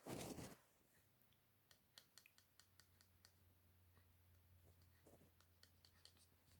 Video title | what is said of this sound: Viper Vale V6004BC | it sounds like plastic